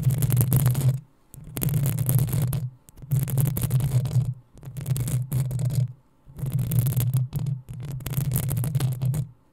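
Long acrylic nails scratch and scrape the metal mesh grille of a black desktop USB condenser microphone. The sound comes in repeated bursts of dense, rumbling scratching with a deep low hum and a faint bright hiss, separated by short pauses.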